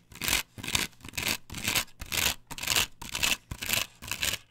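Long nails scratch vigorously across the cutouts of a flat, perforated plastic stencil template glued to a wooden board. About nine rhythmic strokes, roughly two per second, each a bright, hissy, rasping scrape with a faint low thud beneath. The strokes are separated by short near-silent gaps.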